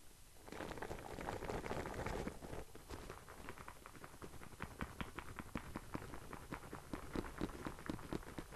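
Fingertips tap and scratch the printed surface of a flat rectangular cardboard product box for 100 LED string lights, apparently with its contents inside. A soft, dense scratching rustle opens the clip, then gives way to quick, light, dull taps that patter irregularly at about four per second. Each tap is short and dry with almost no ring.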